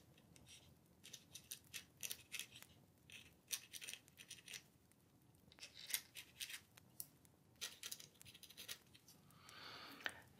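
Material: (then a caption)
Paper. A dip pen nib scratches across a thin, flat paper letter sheet held on a wooden table while writing. Quiet, bright, scratchy strokes come in short irregular bursts, with a longer, softer scrape near the end and almost no low end.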